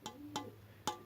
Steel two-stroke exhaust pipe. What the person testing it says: quand je tape dessus, ça fait ting, ting, ting, ting. Et le bruit, il s'atténue tout de suite. Comme s'il y avait de la terre, par exemple, dans le pot